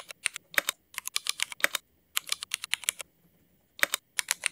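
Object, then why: Mechanical keyboard with ABS plastic keycaps. Fingertips of both hands type on a Cherry MX mechanical keyboard with black ABS plastic keycaps. Bursts of crisp, bright, clacky keystrokes, about 27 in all, come with short pauses and a longer gap before the final run. Each click is short and dry with almost no low end.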